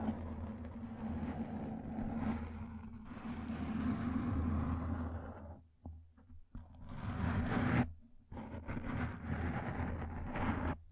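Long lilac nails scratch across a black foam microphone windscreen, then a single fingertip rubs it, making a dense, muffled scratching rustle with a heavy low rumble. The scraping runs steadily, drops out briefly twice near the middle, then resumes in bursts before fading at the end.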